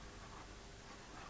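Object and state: Nothing is struck.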